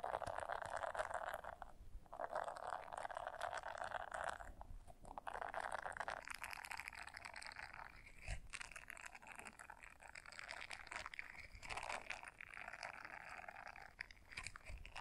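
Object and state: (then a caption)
Silicone scrubber brush. A small blue silicone scrubber brush is held in both hands and folded in half while long nails scratch and rake across its bristles. The result is a quiet, dense, continuous scratching and rustling texture centered in the mids, with brief dips near the 2- and 5-second marks and a sharper tap around 8 seconds.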